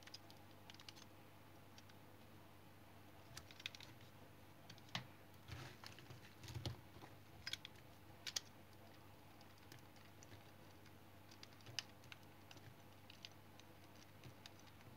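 A small, solid yellow soap remnant is shaved into thin curls with a small blue-handled knife held in hand. Quiet, irregular scraping cuts produce short, crisp clicks and rasps over a steady low hum, with a brief cluster of louder scrapes near the middle.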